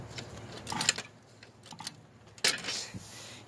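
A metal Goodman air conditioner condenser unit, not yet switched on, is tapped several times with a tool before starting. Each tap brings a short, bright, high-pitched metallic rattle that dies out almost at once.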